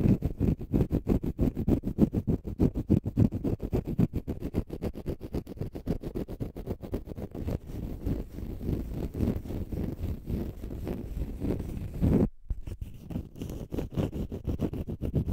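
A small green, dome-shaped konjac sponge puff, porous and solid, is held close to the mic and scratched with short fingernails. Rapid, uneven strokes make a dense, low, muffled scraping. The scratching briefly stops near the 12-second mark and then continues.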